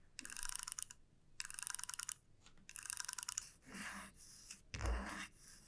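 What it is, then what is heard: Wooden comb. Long nails scratch and flick across the wide teeth of a small solid wooden comb lying flat on a felt mat. Three quick runs of bright, rapid ticking rattles are followed by softer scratchy swishes and a louder brushing sweep with a low thud.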